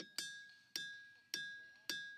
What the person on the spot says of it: those metallic sounds you're hearing are actually coming from the Rocks